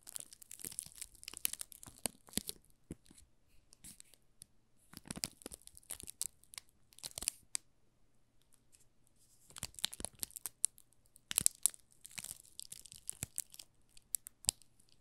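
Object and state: Plastic-film-wrapped soap bar being scratched.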